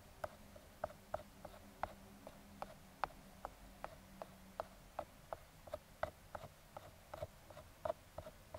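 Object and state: Cardboard box.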